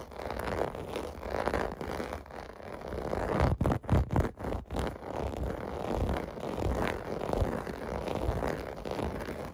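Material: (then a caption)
Plastic. Fingertips and nails scratch quickly across a clear blue plastic bath mat with raised bubble domes resting on carpet. The result is a dense, continuous, low rasping scrape that turns briefly choppy in short bursts midway through before settling back into steady scratching.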